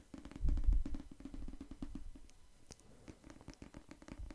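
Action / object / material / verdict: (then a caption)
tap / paperback book cover / paper / none. Fingertips tap rapidly on the cover of a solid pink paperback novel held beside the microphone. The result is a quick series of soft, dull, low thuds with very short decay. The taps are loudest early on and then continue more softly.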